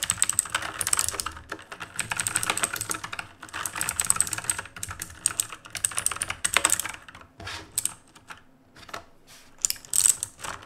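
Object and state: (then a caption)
Mechanical keyboard being typed on. Fingertips type fast on the plastic keycaps of a black RGB plastic-and-metal mechanical keyboard. Dense bursts of sharp, bright key clicks and clacks come with little low end, and the typing grows sparser and more broken up with short pauses toward the end.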